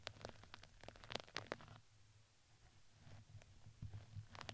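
A red fuzzy fabric crinkly ring around a microphone head is brushed with a plastic spoolie brush, giving quick, soft scratchy crinkles with bright, crisp edges over a low hum. The strokes cluster in the first two seconds, quiet down in the middle, and pick up again near the end.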